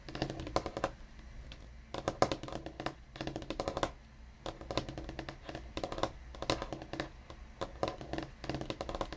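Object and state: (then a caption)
Wooden desk. Fingertips of both hands, one wearing a ring, tap rapidly across a large solid black desktop that looks like painted or laminated wood, with a dark round microphone base at its top edge. The taps come in quick, dry clusters with short pauses between bursts, producing crisp clicks and a woody knock around 550 Hz that dies away almost instantly.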